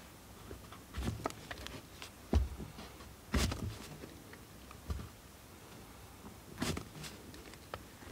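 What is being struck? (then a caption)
Bar of soap cut with a steel blade. A steel multitool knife scrapes and carves a solid blue bar of soap held over a pile of shavings. Short, soft scraping and crunching strokes come in separate bursts, each with a dull low thump and a brief bright edge. Quiet pauses fall between the strokes.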